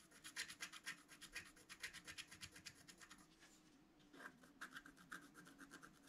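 A wooden stylus makes rapid, repeated scratch strokes across a flat black-coated scratch art card held flat by hand, removing the coating. Each stroke is a short, dry, bright rasp with little low end. The strokes soften briefly in the middle before the quick scratching resumes.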